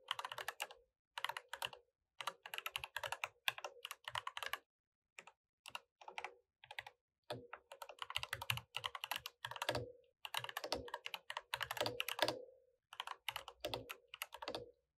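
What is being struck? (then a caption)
Mechanical keyboard with plastic keycaps. Fingertips tap steadily on an RGB mechanical keyboard with plastic keycaps while typing. Quick bursts of bright, clacky keystrokes with a firm low-mid knock are separated by brief pauses. Each click is sharp and dies away almost instantly, with very little low end.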